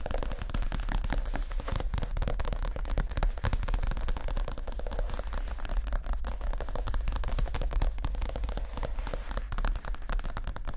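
Fingertips and short nails of both hands tap quickly on a soft, stuffed white leather (possibly faux) padded chair seat cushion. A dense, steady patter of dull, muffled thuds with a deep low hum beneath continues for about eleven seconds, each tap dying away almost instantly.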